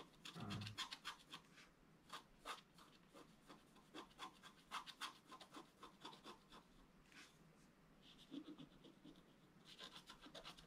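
A wooden stylus scratches lines into a flat black coated scratch art paper board. Quick, dry, bright scratching strokes come in an irregular series, each short and crisp with almost no ring, over a soft, steady background hiss.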